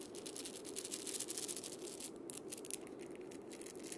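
A single wood and steel-bead cabasa is played by rubbing and rotating its steel bead chains around the wooden cylinder with the palm and fingers. The result is a dense, continuous ratchet-like metallic rasping with bright, hissy high end and a low-mid body around 340 Hz. Many quick scratchy pulses blur together at a steady, fairly quiet level for about four seconds.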